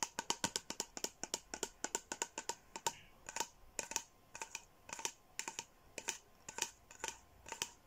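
A tall plastic water bottle with a Sanrio-character print and a blue lid is held up and tapped and scratched with long nails and fingertips. About 38 sharp, bright clicks come in quick, uneven bursts, each ringing briefly with a hollow tone near 940 Hz, and a soft scratching rasp between taps. The clicks stay crisp and light, with almost no low end.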